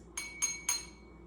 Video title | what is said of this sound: Sound Science Experiment | what happens is when I tap the glass it makes the glass vibrate